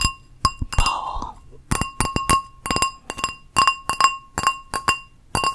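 A small, hollow, empty teal ceramic bowl, with a geometric embossed outside and a glazed inside, is held in the hand and tapped with long nails on both the outside and inside. A quick series of bright, glassy clinks rings with a clear tone near 1.1 kHz and high overtones, each decaying quickly. Early on, a brief rubbing, scratch-like sweep blends between the taps.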